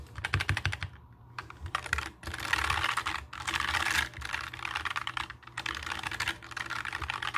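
Fingertips type and tap on a compact black mechanical keyboard with plastic keycaps resting on a table. Rapid bursts of bright, clacky key clicks come with short pauses between runs and a steady low hum underneath.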